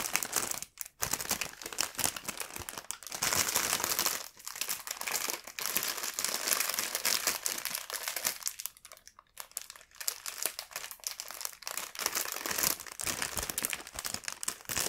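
A full, clear plastic bun package is handled, turned over and pressed with fingertips, giving a steady bright, high crinkling. The crackle comes in dense bursts with brief quieter dips, including a longer softer stretch near the middle.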